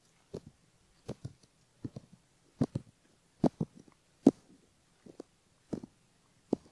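A bamboo ear pick scrapes the skin of a silicone left ear model, in front of the ear and near the canal opening. Short, soft, dry scraping strokes come in small clusters of two or three about every 0.8 seconds, with a low-mid body and a faint bright edge that dies away almost at once.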